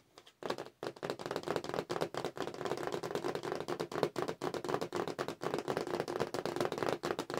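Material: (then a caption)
Cardboard. Long nails tap quickly across the cardboard backing card of a Star Wars action figure package, with the toy figures inside, as it is held up. The result is a dense, fast run of dry, papery clicks centred in the mids around 450 Hz, with almost no low end and little ring after each tap. Brief gaps break the otherwise continuous rattle.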